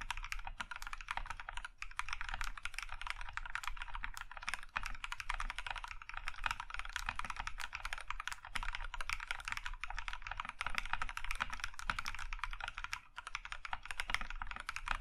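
Both hands type steadily with their fingertips on a compact mechanical keyboard with a maroon metal case and cream plastic keycaps. For about 15 seconds, dense overlapping keystrokes produce sharp, short clacks. The clacks are centered around 1.5 kHz with bright upper edges, over a low rumble.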